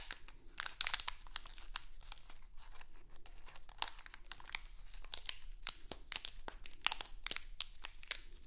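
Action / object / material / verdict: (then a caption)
scrape / thin plastic candy bag / plastic / none. A small printed crinkly plastic Halloween candy bag is held in both hands, then crinkled and scratched with long acrylic nails. Sharp, bright crackles and brisk scratches come in irregular bursts over a faint low hum.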